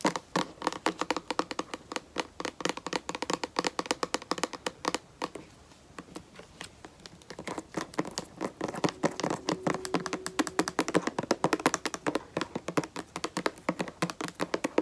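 Long nails tap rapidly on the front label area of a white plastic lotion bottle held in both hands, making dense, crisp, short clicks with a hollow plastic tone. The tapping briefly softens to lighter, sparser clicks in the middle, then returns to a quick, steady rhythm.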